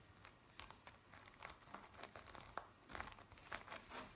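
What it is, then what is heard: Bead play foam being squeezed. Fingertips pinch and scrunch a flattened piece of blue bead play foam, making a quiet, steady run of crisp crinkling and crackling. Short, bright pops and snaps overlap throughout, with almost no low rumble and no ringing after each one.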